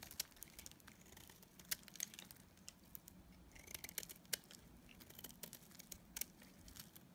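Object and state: Dried soap bar being shaved.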